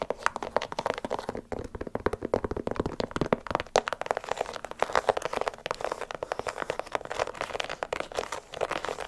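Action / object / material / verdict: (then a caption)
tap / leather sneaker / leather / none. Long acrylic nails rapidly tap and scratch the upper and side of an empty, hollow light blue, white and yellow leather sneaker held by hand next to the microphone. Dense, crisp clicks and scraping crackles run continuously, with a hollow mid-range tone, very little low end and each tap dying away almost instantly.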